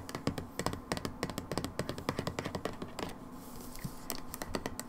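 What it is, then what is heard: Plastic bottle tapped with fingernails. Long nails tap rapidly on the back label and plastic of a turned-over brown plastic hydrogen peroxide bottle. They make quick, dry clicks with very short decay and a low hollow body beneath bright ticks. The taps fall in fast, irregular bursts with a brief, softer pause near the middle.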